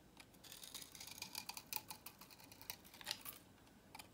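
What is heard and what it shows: A utility knife blade cuts repeated grooves along the edge of a solid, dry, salmon-orange vintage soap bar held in the hand, sending crisp flakes falling. A quiet, quick run of crisp, bright clicks and scratchy crackles is heard, each one dry and stopping at once with no ring, before the sound fades to near silence and one last tick.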